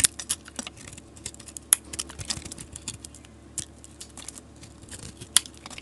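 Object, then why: Bar of soap. A solid green bar of soap, held in a hand with long nails, is scraped with a metal utility knife blade into long shavings. The scraping makes quiet, crisp, bright scratches and sharp clicks at an irregular pace, with a few louder snaps standing out. There is almost no low rumble, and each sound dies away instantly.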